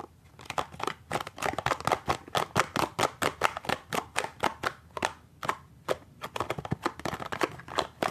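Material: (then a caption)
Cardboard. Fingernails grip, scratch and tap the side and end of a small, hollow cardboard toothpaste box as it is moved around. About 36 quick, dry, papery taps and clicks come in an uneven, fast rhythm, with bright scratchy texture between them. Each tap stops almost instantly, with no ring.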